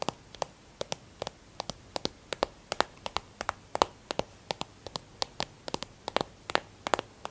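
A white plastic hand cream tube is held and turned in the hand while long nails tap and scratch it. The result is a quick, uneven run of sharp, dry clicks, often in close pairs, with a bright edge and almost no ring, over a faint quiet hiss.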